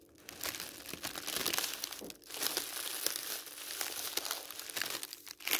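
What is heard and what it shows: Fingertips press and rub the top of a stack of thin white tissue paper sheets lying on a patterned table, then lift and crinkle the sheets. A steady, bright crinkling and rustling fills the clip with almost no low end, easing briefly before a final louder crinkle.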